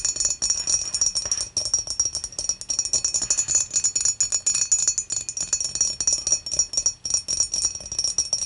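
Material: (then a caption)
Glass. Long matte nails tap rapidly and irregularly on the base and wall of a clear, dimpled glass beer mug that is hollow and empty and lying on its side. The result is a steady stream of bright, high-pitched glassy clicks and chimes with short rings and almost no low end.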